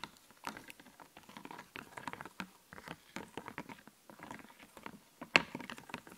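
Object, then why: Puffy plastic stickers on a plastic backing sheet. Fingernails scratch and pick at a sheet of puffy, glittery plastic clothing-themed stickers on a clear backing, held close. A steady run of soft, crisp, bright scratching and clicking is heard, with a sharper, louder click near the end.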